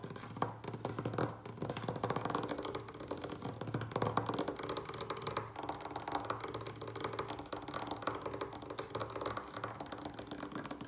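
Fingertips and short nails of both hands tap fast on a large, solid, light wooden table surface close by, while succulents resting on orange tissue paper nearby stay untouched. The result is a dense, continuous patter of short, dry wooden taps and clicks that die away almost instantly, with a warm mid-low tone around 290 Hz, a steady low hum underneath, and little bright content.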